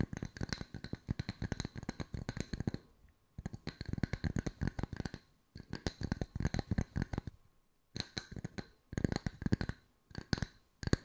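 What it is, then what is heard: Wooden discs. Wooden circles are tapped with the fingertips at mixed speeds for ASMR, producing quick runs of short, dry, low-pitched knocks. The taps come in bursts of rapid patter separated by brief pauses, with a soft low body and little ring after each strike.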